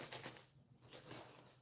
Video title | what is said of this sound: Shipping with me!!!! ryan_brader04 | It's very minimal. So, that's just them being in the box.